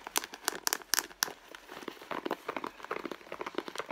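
A red pebbled-leather handbag, soft and hollow, is held and squeezed at its end panel while long blue nails scratch and tap the leather near the stitching. Sharp, bright taps and crinkly scratches come first, followed by a denser run of softer rustling and tapping. The sound is dry, with no low end.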